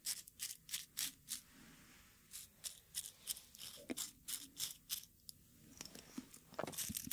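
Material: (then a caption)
Dried petals. Dried rose petals are crushed and ground with a wooden pestle inside a small, light wooden mortar held in one hand. The sound is a series of dry, bright crackling crunches in short, irregular bursts, with quieter scraping between them.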